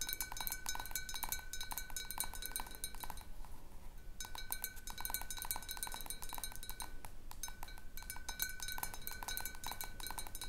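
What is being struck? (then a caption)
Glass bottle with water. A tall clear glass bottle partly filled with water stands on a wooden table and is tapped on the side with the long dark nails of one hand. The sound is a rapid, uneven run of short bright clinks with ringing tones near 1.5 kHz and 2.3 kHz, broken by brief pauses around 3 to 4 seconds and near 7 seconds.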